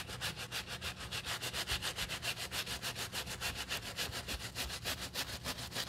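A wooden-handled bristle brush scrubs back and forth over the black, solid treaded rubber sole of a shoe held in gloved hands and covered in soapy foam. Quick, steady strokes, about three or four per second, each give a bright, scratchy, foamy swish. The sound is a continuous rhythmic rasp with little low end.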